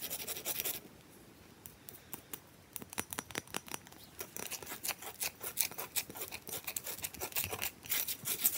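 Long fingernails quickly scratch and tap an irregular, clear, solid hand-sized block of ice held upright on a towel. A brief burst of bright, hissy scratching gives way to a fast, uneven run of sharp, dry clicks and scrapes that die away almost instantly. The taps grow denser and louder toward the end.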